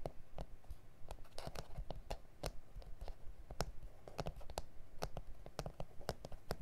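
Fingertips and nails tap and scratch the surface of a flat, solid A4 self-healing plastic cutting mat with grid lines. The result is a quiet, irregular run of short, sharp, bright clicks with soft scratchy brushing between them, over a low, rumbly background.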